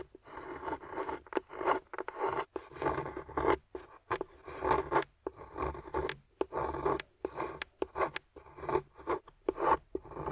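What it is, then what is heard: Dark chocolate bar being scraped. A metal carving tool scrapes and carves curls off a flat, solid dark chocolate bar lying on a white surface while long-nailed fingers hold the bar steady. Short, dry, zipper-like scraping strokes follow one another in quick bursts with brief pauses between them.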